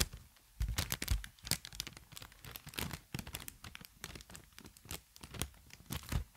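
Inflated, green-tinted plastic air pillow packaging is held horizontally in both hands while fingertips and long nails squeeze and crinkle it. The result is a rapid, irregular run of sharp crinkles and crackles with bright, tearing-like edges and some dull low thumps. Louder bursts are scattered among softer rustling.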